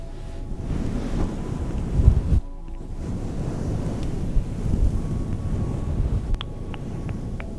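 A fluffy grey-green synthetic fur microphone windscreen, soft and hollow, is scratched and rubbed with long nails, switching between one hand and both hands. The result is a dense, muffled, low rumbling rustle with almost no high end. It swells a little in places and briefly drops away before resuming.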